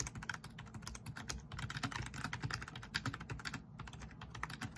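Rapid fingertip typing on a black plastic, backlit RGB membrane keyboard resting on a wooden desk. A dense, steady stream of quick, soft clicks and clatter, each with a low thud and a bright tick that dies away almost instantly.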